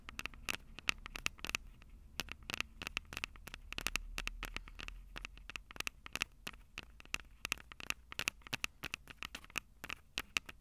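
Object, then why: Metal mesh microphone capsules on a plastic handheld recorder. Long purple acrylic nails tap and scratch the two small crossed metal mesh mic capsules on the hollow plastic body of a Tascam DR-05 handheld recorder. The result is a steady stream of sharp, bright clicks with a faint ring near 2.6 kHz that dies almost instantly, mixed with light scratchy patter. A soft low rumble swells briefly around the middle.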